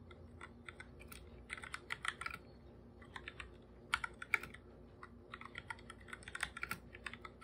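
Bare fingertips type fast on a full-size black plastic computer keyboard with plastic keycaps, a hollow device resting on a purple desk. Quick, dry, hollow clicks come in irregular bursts with brief pauses, bright around 2.3 kHz and dying away almost instantly.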